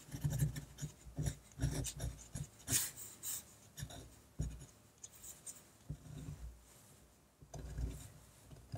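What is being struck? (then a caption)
Fine-tip ink pen on a paper sheet. A fine-tip Rotring Artpen technical pen scratches ink hatching strokes across a large flat sheet of white drawing paper lying on a table. The result is a quiet, uneven run of short dry scratches and rubs, mostly low thuds from the pen pressing into the paper with occasional bright, raspy flicks.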